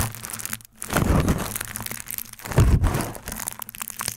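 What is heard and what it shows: A sheet of crumpled aluminium foil is wrapped around the top of a microphone, held in hand, and squeezed and crinkled with the fingertips. Dense crackling, crunching crinkles come with a heavy low rumble, pausing briefly twice before surging louder again.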